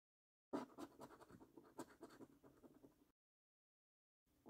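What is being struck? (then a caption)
Paper scratch card with latex coating. A coin scratches the latex coating off the symbols area of a flat, thin cardboard £15 Luxury Lines National Lottery scratch card held down by fingertips. Rapid, papery scraping strokes run from about half a second to three seconds, then stop. After a silent pause, the scratching starts again near the end.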